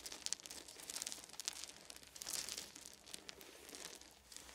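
Fingertips of both hands scratch and rake through a pile of small, round, solid wooden beads resting on a fuzzy blanket. The result is a quiet, steady stream of bright, crisp clicking and crinkling rattles with almost no low end. Sharper bursts stand out at moments within the continuous texture.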